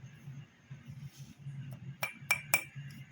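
A cheap, lightweight ₹99 DMart drinking glass is tapped three times, giving short, dull clinks around 2.3 kHz that die away almost at once over a low background hum. Its tap sound is judged not good, and in a later 5-foot drop test this glass shattered into pieces while a ₹229 glass survived.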